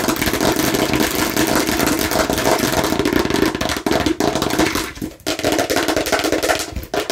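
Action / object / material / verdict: tap / hollow plastic watermelon-shaped bottle / plastic / none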